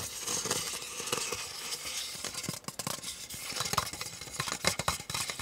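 Painted fingernails tap and scratch the ribbed sides and base of a small, empty, hollow disposable white plastic cup held upright in both hands. Quick, bright plastic clicks mix with dry, scratchy rustling, with almost no low end. Each tap dies away almost at once, with no ring.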